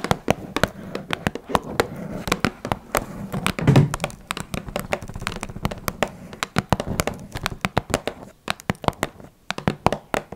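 Long red nails tap rapidly and irregularly on the sides of a small, hollow blue Twinings cardboard tea box. Each tap is a short, dry click with a bright edge over a low, hollow thump, and it dies away almost instantly. A brief, louder, fuller handling sound rises near the middle before the steady tapping continues.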